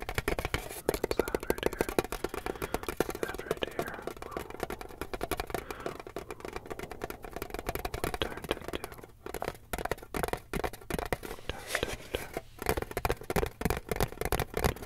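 A flat, rectangular, decorated metal tin printed with a vintage car, hollow with its contents not visible, is held in both hands and tapped with fingertips and short nails on the lid and front. The result is a dense, continuous run of quick, short, hollow metallic taps with a mid-range ring and brief decay. Faint speech may be mixed in.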